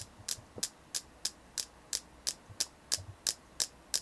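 Steady tapping on a selenite crystal, with twelve short, bright clicks evenly spaced over about four seconds. Each tap is crisp and dies away almost at once, and a faint low hum sits underneath.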